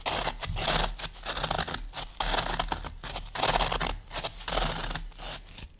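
Long nails scratch and dig quickly into the top surface of a solid green floral foam brick. It makes rapid, dry, crumbly scratching in uneven bright bursts with short pauses between them, over a faint low hum.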